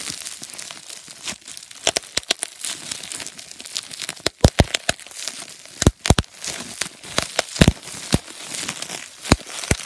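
Fingertips pinch, squeeze and crinkle a thin, crumpled, translucent plastic bubble wrap sheet held up close, popping its air bubbles. A steady bright crinkling hiss runs throughout, broken by many sharp, dry pops that cut off almost instantly. The pops come in irregular bursts across the clip.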